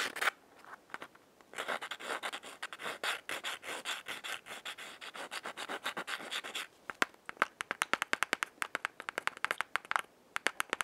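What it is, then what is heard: Cardboard matchbox scratched. Long fingernails scratch and rub along the brown striking strip on the side of a small, closed yellow cardboard matchbox held in the hand. After a few brief scrapes, a steady run of quick, papery rubbing strokes fills the middle of the clip, then gives way to sharp, separate scratchy ticks. The sound is dry and bright with no low end and almost no ring after each stroke.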